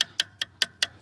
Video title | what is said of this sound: СТУК МОНЕТКОЙ ПО КАРБОНУ. ТРЕЩИНА ИЛИ ПРОСТО ЦАРАПИНА? ПРОЭКТ «ЭГОИСТ» ЧАСТЬ 2 | как будто бы трещина, но тут никаких изменений в звуке нету. Я думаю, что все там в порядке